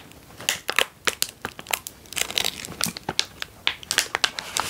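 A foil-lined plastic snack bag of almonds is held and turned while fingers and thumbs crinkle it. Sharp, bright crinkling bursts come in quick succession, each dying away almost at once over a faint hiss, with almost no low end.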